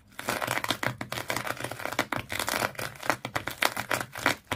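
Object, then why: Fish-shaped toy wrapped in twisted sisal rope. Long fingernails scratch rapidly across the coils of a small fish-shaped pet toy tightly wrapped in multicolored twisted sisal or jute rope, likely solid underneath. The result is a dense run of dry, bright, crinkly scratching bursts with quick, uneven strokes and almost no low end or ring.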